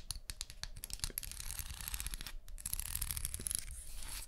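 Long manicured nails scratch and strum along the teeth of a small, solid brown wooden comb held in one hand near a binaural microphone. Rapid, dry clicks and a bright, raspy scratching come in quick bursts over a low rumble. There is a brief pause partway through, then a denser run of strumming.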